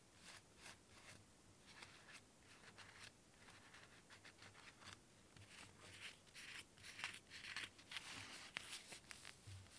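Fingernails scratch and rub the textured cork surface of a hand-sized, hollow-looking, cone-shaped cork cat toy with felt ears. The result is quiet, dry, hissy scratching in short, irregular strokes, bright and mostly high-pitched, growing a little louder and sharper toward the end.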